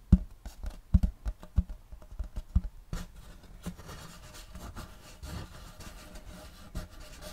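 Fingernails lightly tap and scratch on a large, flat, round wooden serving tray with a checkerboard block pattern, solid and empty. The first three seconds bring a run of soft, dull, low knocks at an uneven pace. These then give way to a quieter, steady, rustling scratch with occasional faint taps.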